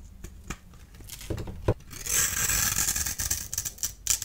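A solid blue-and-white striped bar of dry soap is scored into cubes with a small blade tool and crumbled by the fingers. Sharp, dry clicks and snaps come first, followed by a sustained, bright, gritty crumbling and scraping texture. A few more crisp snaps sound near the end.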